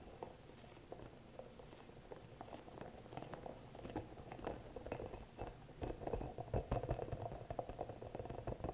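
Fingertips and nails tap and scratch a small green hollow rubber massage ball with soft spikes. Quiet, irregular dull taps and soft scratchy rubbing with a low, muffled tone grow busier and louder in the second half.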